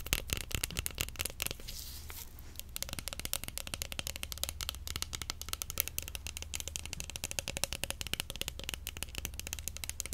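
A large, long, cylindrical roll of clear plastic cling film wound on a cardboard core is held at different angles and tapped quickly with long acrylic nails. Rapid, dense, bright clicking taps run throughout, easing briefly into a softer, smoother stretch around the two-second mark before resuming. A steady low hum sits underneath.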